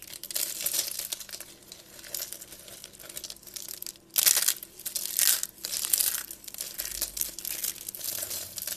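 A pile of thin, pale-yellow dry soap flakes and shavings of solid, brittle soap on a table is crushed and crumbled between the fingertips and palms of both hands. The result is a dense, bright, crinkly crunching that continues throughout, with a few louder bursts of crackle in the second half.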